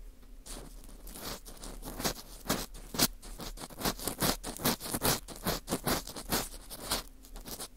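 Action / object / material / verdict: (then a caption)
scrape / dried wheat gluten fu ring scraped with a plastic earpick / wheat gluten / none. An orange plastic earpick scratches inside the hollow center of a round slice of dry, porous dried wheat gluten fu held in a gloved hand. It makes a quick, uneven run of dry, crackly scraping bursts with bright, papery texture. The scratches stop short, with almost no ring.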